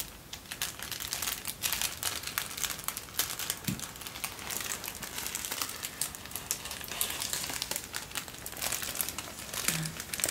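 A folded sheet of thin white tissue paper, held in both hands, is crinkled with the fingers for about ten seconds. The result is a dense, continuous run of bright, crackly rustling with little low-end weight.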